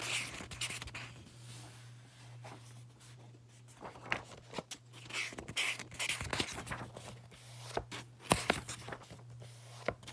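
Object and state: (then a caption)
Paperback book pages being flipped. Fingers flip and riffle through the thick white paper pages of an open paperback book, making bright, airy papery swishes and rustles. Sharp page snaps and taps break through at intervals over a steady low hum.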